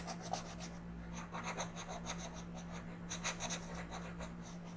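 A wooden colored pencil is rubbed across the thin paper page of a coloring book lying flat on a table, making steady coloring strokes. Soft, bright scratchy rasps come in quick bursts over a constant low hum.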